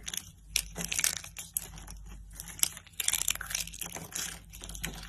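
Fingers with lilac nails pick up thin, hollow blue-and-white striped dry soap curls from rows on a woven mat and crush them into brittle shards. A dense run of dry, bright crunches and crackles follows, each burst sharp and short with no ring. Faint low hum sits underneath.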